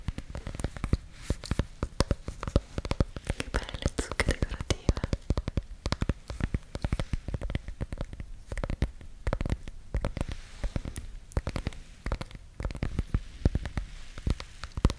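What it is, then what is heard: Ornamental gourd. Long acrylic nails scratch and tap the bumpy rind of a small, solid yellow ornamental gourd held close to the mic. The result is a dense, continuous run of dry, clicky taps and scratchy rasps, with a deep, bassy thump under each close contact.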